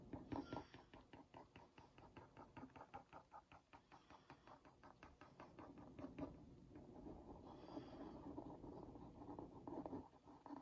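A wooden skewer tip is traced around a printed cookie on a hollow Oreo Mini cardboard box held in one hand. It makes a rapid, even run of dry little ticks for about six seconds, then turns into a smoother, continuous scratchy rasp. The sound is quiet with a hollow, papery body and little high brightness.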